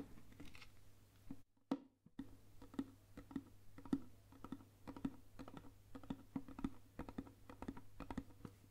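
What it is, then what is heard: Lacquered box. A round, flat, hollow Burmese lacquered box about 20 cm across, likely wood or bamboo lacquerware with a carved, painted lid, is held up and tapped and traced with long nails. Many quick, dry taps with a hollow low-mid tone ring out over a steady low hum, with light scratchy tracing between them and a brief silent gap early on.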